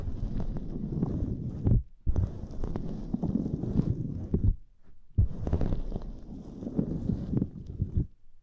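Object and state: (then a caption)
Silicone grid mat being pressed and scratched. Fingertips press a small, flat purple silicone lattice mat, then long nails scratch across it. The result is dense, muffled scratching and rubbing, heavy in the low end, with sharper clicks scattered through. It comes in three stretches separated by short quiet gaps.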